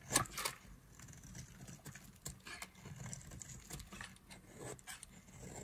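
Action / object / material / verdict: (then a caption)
scrape / bar of soap scraped with a knife / soap / none. A solid rectangular white bar of dry soap with a yellow core is held in the hand and scraped and carved with a black-handled knife blade, with shavings falling off. Dry, crisp, bright scraping and shaving strokes come in an uneven rhythm, the loudest at the very start, over a faint low rumble.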